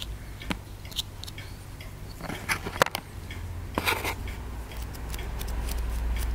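A small solid plaster dig block held in the fingers is repeatedly scraped and picked at with a wooden stick. Sharp, dry clicks and gritty scratches come at an irregular pace, with brief bursts of crumbling crackle. A steady low hum sits underneath throughout.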